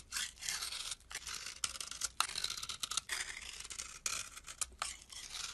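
A metal blade scrapes across the face of a solid tan bar of soap and then along its narrow edge. The result is a dense, bright, hissing rasp in quick strokes, broken by brief silent gaps, with almost no low end.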